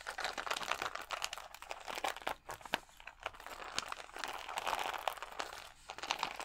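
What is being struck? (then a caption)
Plastic rhinestone sticker sheet. Fingernails scratch and tap the acrylic gems on a clear plastic rhinestone sticker sheet held against the chest. The result is a dense stream of crisp, crinkly scratching with quick clicky taps, centered in the mids and reaching bright highs, with almost no low end. The sound comes in short bursts separated by brief lulls.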